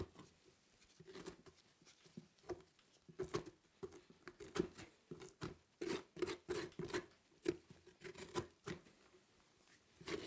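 A gloved hand scrapes the fibrous inner flesh of a large orange pumpkin, its top cut off and mostly hollowed, with a metal spoon. The result is a quiet, repeated series of short, dry scratching and scraping strokes with a hollow mid-low tone, each stroke dying out almost instantly.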